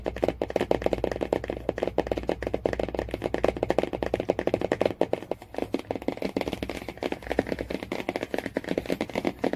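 Fingernails rapidly tap and scratch the laminated cardboard cover of a hardcover Jungle Book. A dense run of quick, dry clicks is heard, centered around 500 Hz, with faint scratchy rasping between them. Each tap dies away almost instantly.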